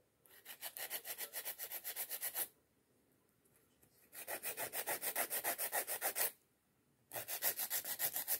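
Long coffin-shaped acrylic nails are filed with a white emery nail file with pink edges in rapid back-and-forth strokes. About 27 bright, raspy scratches come in three steady bursts separated by short pauses, with each stroke cutting off sharply.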